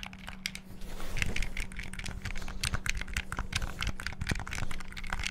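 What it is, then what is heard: Plastic game controller. The triggers and buttons of a black, hollow plastic Xbox-style gamepad are rapidly clicked with fingertips. Dense, fast plastic clicks and clacks come in quick bursts with very short, dry decays, over a faint steady low hum.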